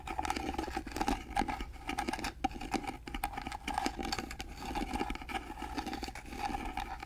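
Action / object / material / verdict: scrape / carved wooden box / wood / none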